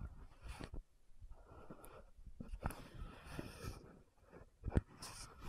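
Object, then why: Frosted plastic lotion bottle with cap. Long nails scratch and tap the gold cap and neck of an orange-red frosted plastic lotion bottle. Quiet, dull, low-heavy taps sit among soft scratchy rustling, with one sharper, louder tap near the end. Each tap dies away almost at once.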